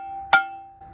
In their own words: That's a brake that's released, it's ringing.